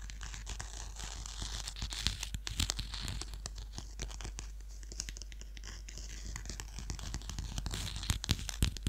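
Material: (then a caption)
Cloth. A small black-and-silver clothbound hardcover of The Picture of Dorian Gray, with a peacock feather pattern, is held closed in one hand while fingertips and nails scratch its cloth cover. The result is a steady, irregular stream of dry, bright scratching and crackling ticks over a constant low hum.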